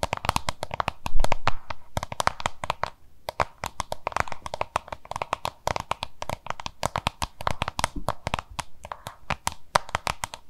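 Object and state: Plastic lunch box, hollow.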